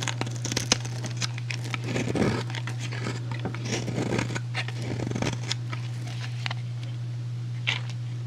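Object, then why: Soap bar. A metal utility blade scrapes and cuts a solid, rectangular, hand-sized light blue soap bar with an embossed logo, shaving it into flakes and cubes. A run of dry, crisp crunching and crackling cuts with bright edges repeats over a steady low hum. Each slice snaps off short with almost no ring.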